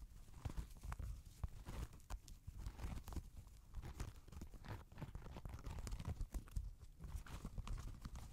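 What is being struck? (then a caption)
Knit fabric sneaker upper. A grey Adidas NMD knit-fabric sneaker, empty and resting on a lap close to the microphone, is tapped and scratched with fingertips and nails on the upper near the laces. Steady soft, deep thumps and short scratchy rustles continue throughout.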